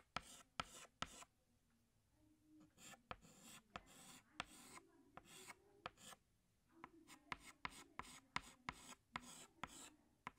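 Fingertips hold a green chalk stick and scratch it across a large flat black chalkboard while drawing leaves. Seventeen sharp, bright chalk taps land between soft, gritty, rasping strokes. The sound stays quiet and dry throughout, with no ringing after each tap.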